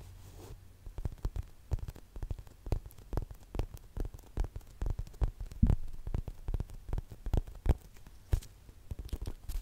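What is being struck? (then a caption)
Polyurethane foam lemon-shaped squishy toy. A large yellow lemon-shaped squishy toy made of soft, solid polyurethane foam is held close to the microphone and tapped and scratched with long nails. The result is a quick, irregular run of dull, low thumps with faint scratchy crackles between them, each tap dying away almost instantly.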